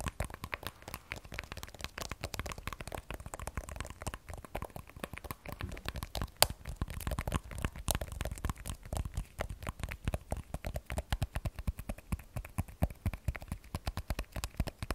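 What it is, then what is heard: Glass-backed smartphone with steel frame. An iPhone 12 Pro with a glass back and steel frame is held sideways in both hands while long nails tap rapidly across its back and sides. The result is a steady stream of quick, dry clicks with a soft low thud under each and a faint bright edge, every tap dying away almost instantly.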